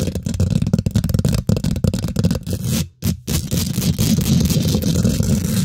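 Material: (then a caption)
Metal mesh. Long nails and fingertips on both hands rapidly scratch and tap the domed, hollow woven metal mesh grille of a large silver condenser microphone. The result is a dense, fast stream of rough scraping and crackling taps, dominated by heavy, booming low-end thumps, with a brief near-silent pause around the three-second mark before the scratching resumes.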